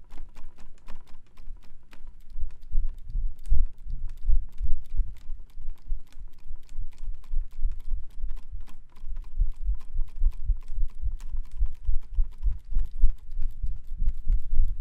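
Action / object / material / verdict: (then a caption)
flick / plastic-ribbed folding fan with fabric leaf / plastic / none. A white plastic-ribbed folding fan with a printed floral fabric leaf is repeatedly flicked open and fanned fast with one hand. Its ribs make a rapid, steady stream of short, dry clacks over low, thumping pulses of moving air. The sound continues evenly throughout.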